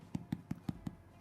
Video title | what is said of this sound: How To Make Easy Sweet or Savoury Scones | you can hear this echoey sound which should mean that they're done